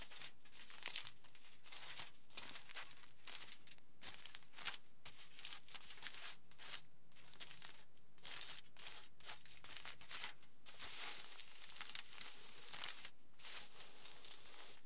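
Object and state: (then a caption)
Aluminium foil sheet. Fingertips rub and scratch across the surface of a large, flattened sheet of aluminium foil lying flat. The result is a steady, quiet stream of bright, crinkly rustling and scratchy crackles in quick bursts, continuing throughout with no voice.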